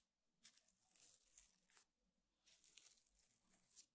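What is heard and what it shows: The bristle tip of a small makeup brush pokes and scratches the weave of a flat, square woven rattan table mat. Two quiet spells of bright, dry, crinkly scratching are heard, one lasting about 1.3 seconds and the second about 1.4 seconds, separated by a short pause. The sound is almost entirely high-pitched, with little low end.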